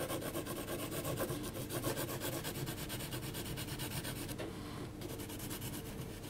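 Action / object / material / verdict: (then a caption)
scrape / graphite pencil on heavy paper sheet / paper / none. A hand scratches a yellow HB graphite pencil across the face area of a portrait drawn on a flat, thick sheet of heavy paper. Quick, dry, rasping strokes repeat about four times a second with bright, papery texture. The scratching briefly softens just before the five-second mark, then resumes.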